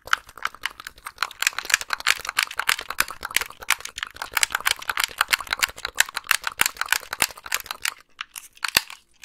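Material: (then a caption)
Plastic. Long nails tap and click rapidly on the buttons and shell of a white, hollow, wired plastic game controller held close to the microphone. The result is a dense stream of crisp, bright plastic clicks and taps with almost no low end and very short ring. The clicking thins out near the end, ending with a single sharp click.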